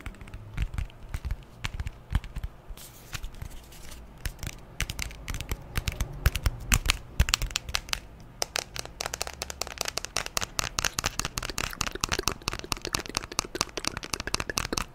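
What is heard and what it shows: Fingernails tap on the screen and the back of a white glass-and-aluminium smartphone close to the microphone. The result is a rapid, uneven stream of short, dry clicks with a bright edge, getting denser and busier in the second half, over a low background hum.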